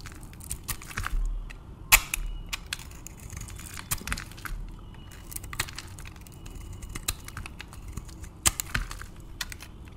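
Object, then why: Soap bar cut with a metal blade. A metal utility blade scrapes and carves a dry, varnished bar of solid white soap with a purple outer layer, held in the hand. Short, crisp scratches and bright, sharp clicks come in uneven bursts over a faint low rumble, with a few louder snaps as pieces break away.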